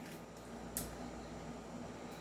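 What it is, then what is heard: Tight pistol slide, no rattle. An upgraded silver 5.1 Trex Hi-Capa airsoft pistol with a metal slide and frame is shaken, producing almost no sound over a low, steady background hum, apart from one faint, bright click. The slide is tight and has no rattle.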